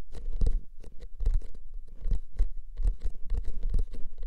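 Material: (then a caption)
Cardboard. Fingertips and nails quickly scratch and tap the paper surface of a hollow, paper-wrapped cardboard tube can held horizontally. The result is a dense, rapid run of short taps and scratchy rustles, each with a deep, hollow low thump and a brief bright scratch that dies away quickly.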